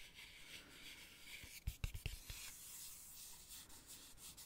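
A fingertip traces and rubs across the thick laminated cardboard pages of an open children's sensory board book with printed coloured dots, held up with its solid pages open. A quiet, bright rubbing hiss runs throughout, broken in the middle by a quick cluster of short, dull low knocks before the soft rubbing resumes.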